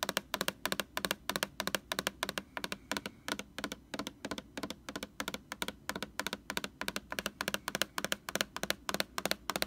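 Long orange fingernails tap rapidly on the glossy front label of a large white plastic Lysol laundry sanitizer jug. The taps are sharp, dry and bright clicks with almost no ring, falling in quick, uneven bursts over a faint low background hum.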